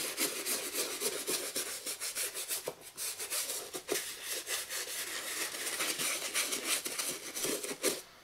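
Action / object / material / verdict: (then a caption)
scrape / leather high-top sneaker scrubbed with a toothbrush / leather / none. A toothbrush scrubs the lathered surface of a hollow black and green leather high-top sneaker lying on its side on a wooden chair. The sound is a steady, bright, scratchy brushing in quick back-and-forth strokes with a faint low-mid body, then it drops away at the end.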